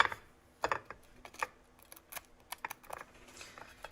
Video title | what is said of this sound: Reacting to: Easy Air Fryer Chicken - Cack Handed Cooking with Lardo #HowNotToCookWithLardy | you can hear how crispy it is